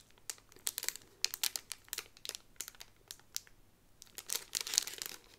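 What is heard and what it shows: A Peter Pan (Wendy) pin on a blue cardboard card inside a clear plastic bag is flipped over, and the sleeve is crinkled with fingertips and long nails. Bright, crisp plastic crackles and sharp nail ticks come in quick irregular bursts with brief quiet gaps, and a denser flurry of crinkling near the end.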